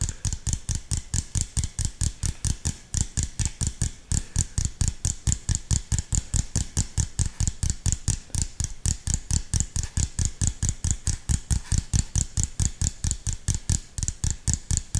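Fingertips tap rapidly on the side and orange cap of an empty, hollow, clear PET plastic drink bottle, giving about 67 quick, fairly steady taps. Each tap is a short, dry, hollow low thump with a bright clicky edge that dies away almost instantly.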